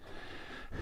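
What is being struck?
Nothing is struck.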